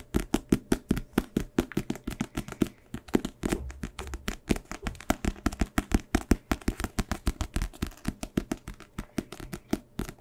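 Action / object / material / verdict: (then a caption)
tap / paperback book with card cover / paper and card / none. Fingertips and nails tap and scratch the glossy card front cover of a small paperback book, *Monk*, a solid paper block held up in both hands. About sixty quick, dull, low taps come in rapid runs, each dying away almost at once, with brief soft scratching between them.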